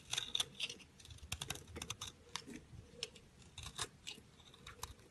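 A round, solid orange-pink speckled soap bar held in the hand is shaved and scraped with a metal utility knife blade. Quick, crisp scraping ticks and short crunchy shavings repeat throughout, sounding bright and dry with almost no ring.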